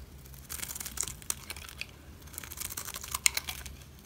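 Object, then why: Bar of soap scraped with a blade. A utility knife cuts and scrapes the face of a solid green dry soap bar. The result is a run of dry, bright crackling and crunching scratches with a few sharper snaps, and a faint low hum underneath.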